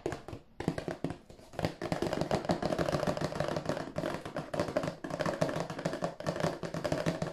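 A hollow, glossy cardboard tissue box, held at an angle, is tapped and scratched with fingertips and nails along its side and end. Dense, rapid, dry taps with a hollow mid-toned resonance mix with scratchy rustling. Each hit dies away almost at once.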